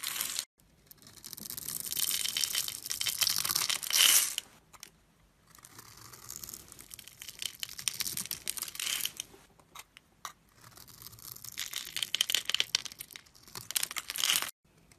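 A metal blade carves small cubes off the scored surface of a solid orange Dove soap bar held in the fingers. It makes bright, crisp crunching and crumbling scrapes in three long bursts separated by brief pauses, with almost no low end.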